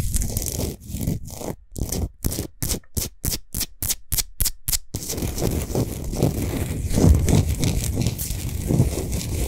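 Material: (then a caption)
Rock salt. Long nails of both hands scratch a large, solid pink Himalayan salt sphere lamp with its light off. The dry, gritty scraping starts steady, breaks into a run of quick separate strokes with short silences between them, then turns into dense, continuous rubbing with a heavy low rumble.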